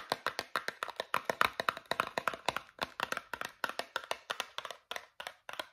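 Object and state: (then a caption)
Cardboard toothpaste box. Fingernails tap rapidly on the flat faces of a small, travel-size Meridol cardboard toothpaste box, producing about 37 quick, dry clicks in an uneven rhythm. Each tap is crisp and papery, centered in the mids with a bright edge, almost no low end, and stops instantly with no ring.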